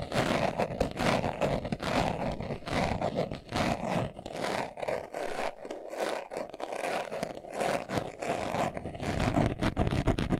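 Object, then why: Leather-covered glasses case. A hand-sized, hollow, closed brown leather-covered glasses case is held in both hands while its surface is scratched fast with short nails and fingertips. Dense, rough scratching comes in quick, uneven bursts over a hollow low body, steady in loudness for the whole clip.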